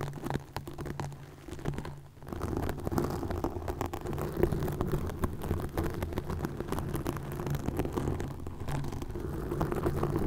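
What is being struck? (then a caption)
Plastic mesh netting on a microphone. Long nails scratch green plastic mesh netting stretched over a microphone, making a dense, low rumbling crackle of rapid scraping and tapping. The texture stays heavy in the low end with a steady hum-like tone underneath. After a brief quieter dip near two seconds, it continues at a steady level.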